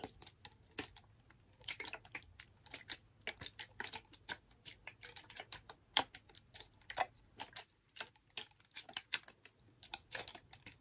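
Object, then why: Ridged plastic water bottle, partly filled. A clear, blue-tinted, ridged plastic water bottle, hollow and partly filled with water, is held in one hand and tapped with fingernails. The result is quiet, fast, dry, bright ticking taps in irregular bursts with brief pauses, each tap dying away almost instantly.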